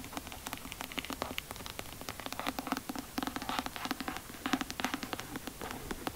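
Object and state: Hardcover book tapped and scratched with nails.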